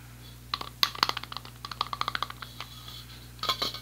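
A hollow, closed aerosol spray paint can about 20 cm long, with a yellow plastic cap and a white and yellow printed metal body, is tapped rapidly with fingertips and nails, first on the cap while held upright, then along the body while held sideways. Bright, dry clicks and ticks come in a quick, irregular run with a faint tinny tone near 1.1 kHz, each tap dying away almost instantly. A short pause is followed by a final cluster of taps.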